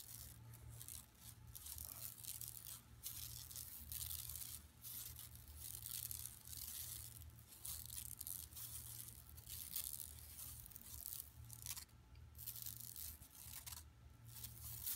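Long nails scratch over the print of a flat, empty yellow woven plastic mesh tote bag lying on carpet. Rapid, continuous bright raspy scratching swells and fades in short strokes, over a steady low hum.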